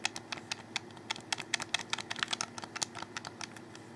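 Fingers click the buttons and tap the shell of a hollow black plastic Xbox 360 controller held close. About twenty sharp, dry, bright clicks and taps come in a quick, irregular run, each dying out at once, over a faint steady low hum.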